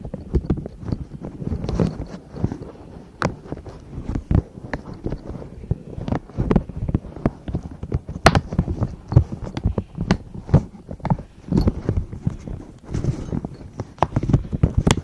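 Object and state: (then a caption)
Silicone pop-it pouch. Long acrylic nails tap and scratch the hollow bubbles of a pastel silicone pop-it zipper pouch held in both hands. The result is a steady, irregular run of soft, dull, low thuds with quick clicks and brief scratchy rustles. Each tap dies away almost at once.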